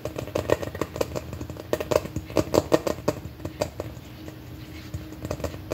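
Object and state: Hollow plastic candy container.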